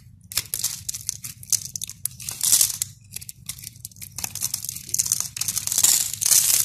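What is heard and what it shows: A red-handled utility knife blade scores and scrapes a cube grid into a solid, palm-sized white bar of soap held in the hand, making a rapid run of dry, bright scratching and crumbly crunches with almost no low end. Small soap cubes break off and drop as the crisp cutting continues throughout.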